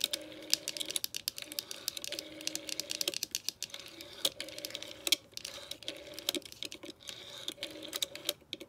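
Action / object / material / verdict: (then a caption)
tap / plastic rotary telephone handset and dial / plastic / none. Long nails quickly tap and scratch on a green vintage plastic rotary telephone, moving between the hollow plastic handset resting on its cradle and the clear plastic dial. The result is a dense stream of sharp, bright clicks and brushing scrapes with almost no low end. A faint steady hum runs underneath.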